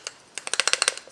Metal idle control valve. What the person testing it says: You can hear it moving back and forth.